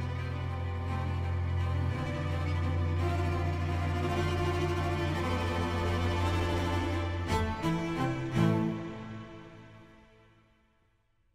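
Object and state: Nothing is struck.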